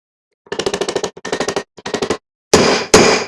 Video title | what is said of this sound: Replacing the front hubs on my Motorhome | Sounds like it bottomed out.